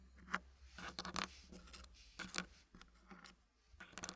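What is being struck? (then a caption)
Small wooden puzzle blocks in a wooden tray. Small solid wooden puzzle blocks are handled in a green wooden tray as fingertips slide, scratch and tap the pieces while fitting them. The result is a quiet run of brief, dry wooden clicks and taps mixed with soft, bright scraping textures over a low steady hum.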